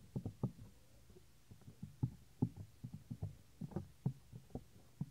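Fingertips press and tap the earflap of a white silicone binaural microphone ear, giving dull, low, knock-like thuds in an uneven run. Each thud stops almost at once, with no high or bright content and a faint low hum between taps.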